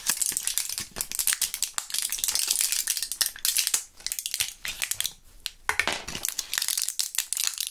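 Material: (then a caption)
Plastic. A small clear plastic blister pack of Thrills gum with foil backing, holding purple gum pellets, is squeezed, crinkled and rattled between gloved fingers. It makes a dense run of bright, crisp crackles and rattling clicks with almost no low end, each snap dying away almost at once, with brief quieter gaps along the way.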